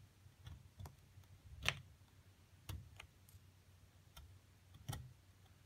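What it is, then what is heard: Plaster excavation block being picked. A metal seafood pick scrapes and pries loose chunks of a solid white plaster dig block, which lies flat and is held steady by one hand, chipping around a buried Egyptian mummy figure. Seven short, dry, tick-like clicks stand out from a quiet scratchy background. Each click carries a bright high crackle and a soft low thump that stops almost at once.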